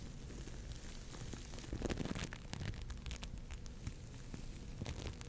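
An orange lump of foam bead clay (floam) is squeezed and scratched with long nails close to the mic. It makes a steady, dense crackling of tiny bright pops and clicks over a low, muffled rumble, with no clear pauses.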